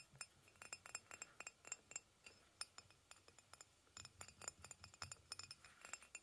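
Fingernails tap rapidly on the side of a hollow white ceramic mug resting on a blanket. They make a quick, irregular series of bright, high clinks with very short ring and almost no low end.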